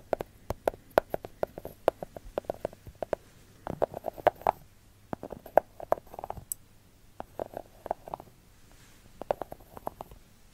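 Long gold fake nails tap rapidly across the top of a solid segmented milk chocolate bar resting on its wrapper. The taps come in quick bursts of short, dry clicks with a hollow midrange knock around 630 Hz and bright tick edges, separated by brief pauses. Each tap stops almost instantly with no ring.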